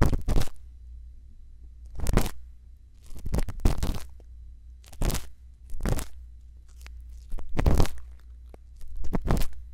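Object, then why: Silicone ear of a binaural microphone scraped with a bamboo earpick. A thin bamboo earpick scrapes inside the canal of the right silicone ear of a binaural microphone. It makes close, crunchy scratching bursts that spread from deep lows to bright highs, separated by short quiet gaps over a steady low hum.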